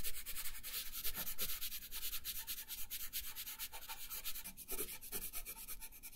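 A colored pencil shades a thin paper coloring page resting on a wooden table. Rapid back-and-forth rubbing and scratching strokes make a steady, bright, papery hiss over a faint low rumble. The strokes blur into continuous scratching rather than distinct separate hits.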